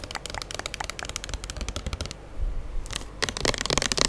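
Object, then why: Plastic pump soap bottle. A square plastic pump soap bottle, filled with gold-amber liquid and labeled, is held in hand and tapped and scratched with long nails. Quick, dry clicks and scratches come in dense bursts, with a short quieter pause near the middle before bright, crisp taps resume.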